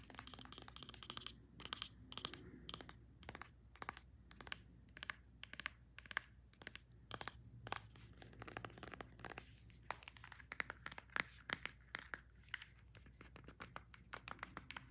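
Long nails rapidly tap and scratch the label, clear cap and body of a white plastic Olaplex No.9 hair product bottle. The result is a fast, uneven run of sharp, dry clicks with bright scratchy rasping between them, each tap dying away almost instantly over a faint low background hum.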